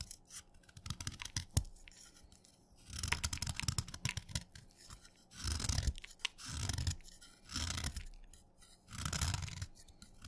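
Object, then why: Chalk stick shaved with a steel knife. A steel knife shaves a solid, wet orange chalk stick to a point, and crumbly curls collect on the blade. Short scratchy scrapes and taps in the first few seconds give way to longer rasping strokes that come in repeated bursts, with a low thud and a bright, gritty edge.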